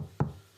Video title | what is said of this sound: Sangha: The Importance of Community - ThirdEyeCyphs Podcast S3E5 | i'll knock on this table that is like it's hard